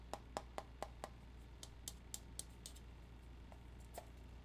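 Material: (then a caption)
Metal. A hollow, round, flat metal tobacco tin with a red printed lid is held in the hand and tapped on the lid and side with the fingertips and nails. About a dozen short, quiet taps come at an uneven pace. The early taps have a brief metallic ring around 800 Hz, and the later ones are brighter, clicky nail taps, all over a steady low hum.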